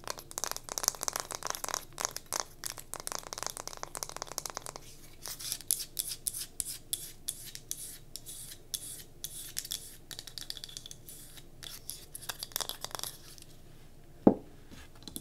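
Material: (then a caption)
Pine wood. Long nails scratch and rub the grained sides of a solid pine wood cube candle holder with a tealight in its top as it is held and rotated. Dense, dry scratching crackles fill the first five seconds, then thin into sparser rubbing strokes, and a single sharper tap stands out near the end.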